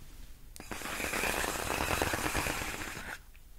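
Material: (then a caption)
Plastic. Long acrylic nails scratch and rub along the hollow, air-filled tubes of a large clear inflated plastic air-column cushion wrap lying on a fluffy rug. After a brief tap, a dense, rapid scratching and squeaky crinkling runs steadily for about two and a half seconds, broad and bright, then cuts off into quiet.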